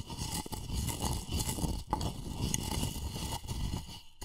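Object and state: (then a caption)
Empty wooden mortar scraped with pestle. A wooden pestle scrapes and grinds against the inner wall of a light, hollow wooden mortar that appears to be empty. The sound is a continuous, low, rough grinding with a faint tone near 855 Hz and a thin, bright hiss, broken by a few brief pauses.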